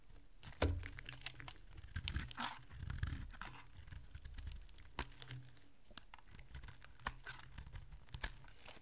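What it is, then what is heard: Dry bar soap being shaved. A solid, dry green bar of soap is cut and shaved with a small metal blade, and chunks and flakes break off. Quiet, crisp scraping and crunching crackles repeat throughout over a low, dull rumble, with a few sharper snaps standing out.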